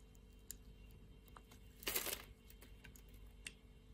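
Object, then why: Bar of soap cut with a blade. A utility-knife blade shaves cubes off the grid-scored surface of a solid pink-red soap bar. Faint, crisp ticks come and go over a low steady hum, with one louder, bright scraping crunch lasting about a third of a second midway through.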